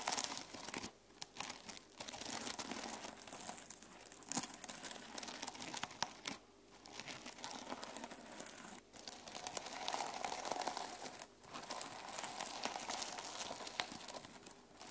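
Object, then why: Notebook with plastic sequin cover. A single long nail scratches across the plastic sequin cover of a mermaid sequin-covered journal lying on a table. It makes a dense, bright, crinkly rasp with dry clicking flutter as the sequins catch. The strokes come in bursts separated by brief quiet pauses.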